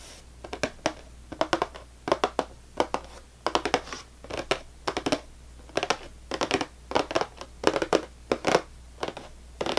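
Long nails on both hands tap and scratch quickly across the top of a full, closed cardboard saltine cracker box. Short, dry, bright clicks come in rapid clusters of a few taps each, with faint scratchy rustle between bursts. Each tap dies away almost at once, with no ring.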